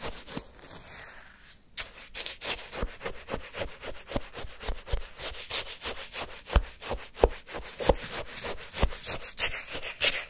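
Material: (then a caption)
Shaved ice. A wooden stick lifts a lump of frozen orange shaved-ice sherbet from a paper cup, then scrapes and digs through the crushed ice. After a quieter opening, a steady run of rapid, crunchy scraping strokes follows, each one crisp and bright with short, sharp grainy bursts.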